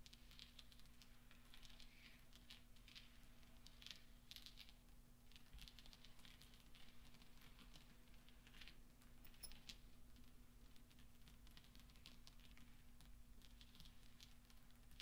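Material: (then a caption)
Steel. Fingertips gather and roll small solid steel pachinko balls across velvet, making a quiet, continuous run of soft, bright clicks as the balls tap against each other. A steady low hum sits underneath the light, rustling patter.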